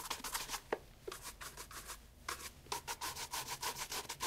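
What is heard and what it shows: A brown leather loafer fitted with a shoe tree is held in hand and brushed rapidly with a wooden-backed bristle shoe brush. About eighteen quick, bright, scratchy swishes come in an uneven back-and-forth rhythm, with a faint mid-range tone in each stroke. The brushing stays soft and close throughout.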